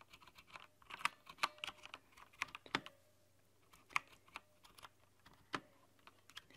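Long nails and fingertips tap the translucent plastic keycaps of a rainbow-lit plastic backlit mechanical keyboard in uneven bursts, giving about nineteen quick, bright clicks that die away almost instantly. The clacks have a ringing tone near 1.1 kHz, over a faint low hum and short quiet gaps between flurries.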